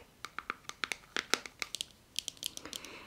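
Fingertips and nails scratch and tap along the lid and side of a small round plastic clay-mask cosmetic jar. About eighteen short, dry, bright clicks and scrapes come in an uneven series, with almost no low end and no ring after each hit. The clip ends in a brief continuous scratchy rustle.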